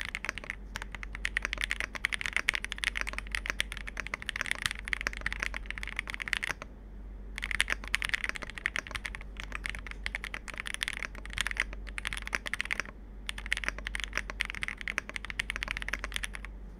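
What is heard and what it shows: Two hands type steadily with their fingertips on a Capsule 65, a 65% mechanical keyboard with plastic keycaps on an FR4 plate. The result is a dense run of short, bright plastic clacks centered around 2 kHz, with almost no ring. The typing pauses briefly near 7 seconds and again near 13 seconds.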